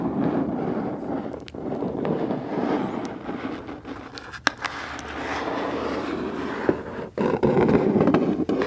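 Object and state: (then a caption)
Cardboard box. Long pointed acrylic nails tap and scratch the flat sides and edges of a medium, closed black cardboard subscription box with a printed logo, held up in the hands and seemingly hollow. A steady, dense papery scratching fills the clip, broken by sharp, bright nail clicks. After a brief pause near the end, the scratching returns louder.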